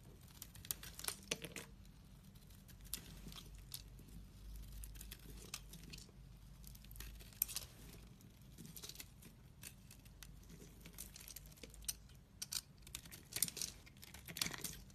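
A utility-knife blade scrapes and chips at a partly carved, solid orange bar of soap. Soft, crisp scraping and crumbly, crackling chips come in irregular bursts with bright, high texture over a faint steady low hum, with slightly louder flurries near the start and end.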